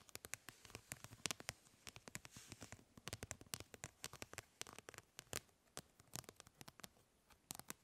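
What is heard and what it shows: Long nails scratch and tap across the plastic grid mesh of a fly swatter, making dozens of quick, dry ticks and scrapes with a bright, crisp edge. Each tap is short and dies away almost instantly against a quiet background.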